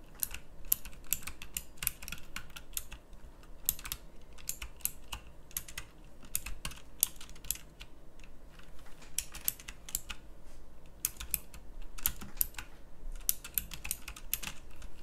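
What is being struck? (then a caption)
Plastic mechanical keyboard. Fingertips with long nails type on a pink backlit mechanical keyboard with round plastic keycaps. A steady stream of sharp, bright clicks comes in quick bursts over a low, constant hum. Each click dies away almost at once.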